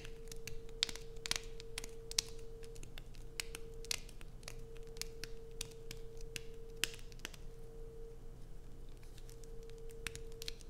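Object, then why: Bar of soap. Long nails scratch and dig into a solid light-blue bar of soap with carved slots, held in both hands. Quick, dry, bright scratches and clicks come in an irregular stream, each dying away almost at once, over a steady low hum and faint background rumble.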